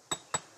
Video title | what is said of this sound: La Réunion, le paradis des marcheurs (France Ô) | elle est plutôt saine cette roche elle sonne assez clair